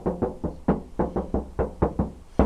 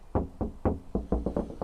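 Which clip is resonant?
The first.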